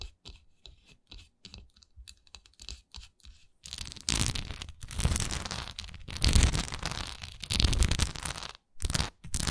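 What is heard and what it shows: Long nails scratch the textured sides and flat top of a solid wax pillar candle. Short, quiet, separate scratches come first, then give way to louder, dense, continuous rasping scraping with a low rumble and bright crackle.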